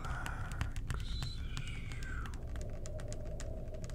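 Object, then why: Plastic bottle partly filled with liquid cleaner. A clear plastic cleaner bottle with a blue cap, partly filled with blue liquid, is held in both hands and tapped with the fingertips. The result is a steady run of quick, soft, low hollow taps with short clicky edges, and faint gliding tones drift in the background.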